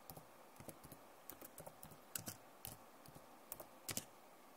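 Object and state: Plastic laptop keyboard.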